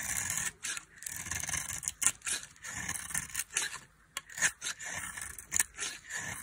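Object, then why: Soap bar shaved with a metal blade. A dry, solid blue-coated cream soap bar is held in the hand and shaved with a metal blade. Repeated crisp, bright scraping strokes come in uneven bursts with short pauses between them, with a dry rasping texture and very little low end.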